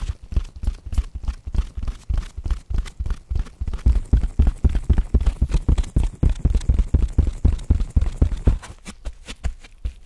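A palm-sized, grey, porous body-scrubbing sponge with an orange tag is held in both hands, squeezed and scratched with gloved fingertips across its rough surface. It gives a rapid, uneven run of short, dull, low thumps with faint scratchy texture, about four per second. The sounds are dry with no ring, and they soften slightly near the end.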